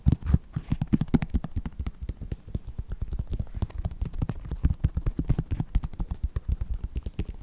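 Fingertips and nails tap rapidly on the synthetic upper of a white Nike sneaker. The taps come as a dense, uneven stream of short, dull, low thuds that die away almost at once, with the loudest bursts near the start.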